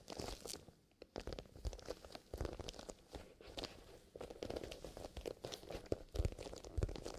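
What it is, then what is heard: Leather zipper pencil case. A black leather zipper pencil case, soft and hollow, is held between both hands while fingertips scratch and tap its leather faces. The result is a quiet, continuous run of dry crunching, crinkling scratches broken by soft, muffled taps with a low, hollow body.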